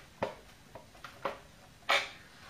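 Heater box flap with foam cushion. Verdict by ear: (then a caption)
Muffled. The heater flap on the fibre heater box of a Mk3 Cortina, now fitted with a cushion seal, is closed several times. Each close gives a short, soft, dull knock with no plastic or metallic ring. This shows the flap is properly cushioned.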